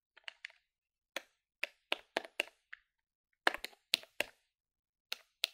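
A plastic desktop calculator is held in one hand above a wooden table while its plastic keys are tapped quickly with fingertips and nails. Short, dry, bright clicks come in irregular bursts with brief silent gaps, each dying away almost instantly with no low-end thump.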